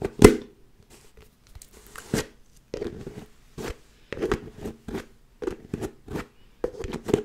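Long nails scratch the ridged red plastic lid of a medium white plastic tub and tap on the jar. The result is a series of short, dry clicks and raspy scrapes with a bright edge and almost no ring, separated by brief silences.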